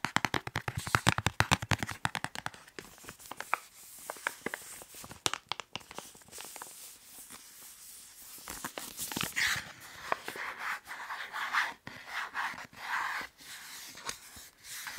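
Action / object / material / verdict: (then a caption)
tap / plastic snack wrapper / plastic / none. Fingers rapidly tap, rub and crinkle a white printed plastic snack wrapper held under and beside the microphone. A burst of sharp, fast broadband taps opens the clip, then gives way to softer, continuous crackling and rustling of the plastic.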